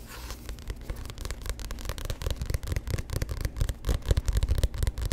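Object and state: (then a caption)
Paperback book cover. Fingertips and nails scratch and tap the cover of a solid, glossy paperback book held close to the microphone. A dense run of dry, crackly scratches and quick, short taps carries a soft, low thump under each touch. The taps grow louder and busier toward the end.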